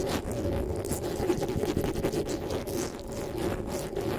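Fingertips and nails rub and scratch the metal mesh grille of a black desktop microphone. The result is a steady, close scratching and rustling with a heavy low rumble and occasional brief bright streaks, continuing without a break.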